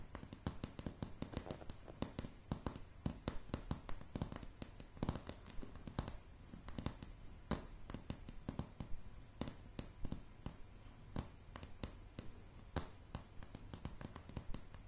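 Long polished fingernails of both hands tap across a light, solid wooden plank floor. A steady stream of quick, sharp clicks and knocks comes in irregular rhythm, each dying away almost instantly. The taps are quiet and weighted toward a low, hollow body with a bright tick on top.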